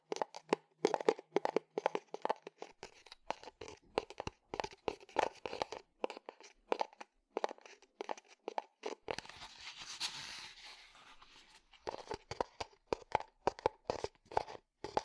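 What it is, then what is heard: Leather cup sleeve. A hollow, flexible tan leather cup sleeve is squeezed, tapped and scratched with fingertips and nails, producing a quick run of dry, crinkly taps and crunches. Around the middle, the tapping gives way to a steadier, brighter scratching hiss before the quick taps resume.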